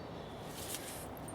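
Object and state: Nothing is struck.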